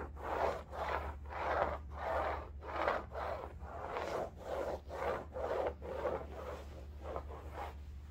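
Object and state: Woven fabric bolster pillow being scratched.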